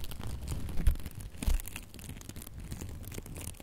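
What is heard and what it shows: A gold and red glitter ribbon bow held up close while long nails scratch and rub its glittery loops, giving a soft, continuous scratchy rustle. Two louder low thumps stand out near the start, and the texture settles into quieter, steady rubbing.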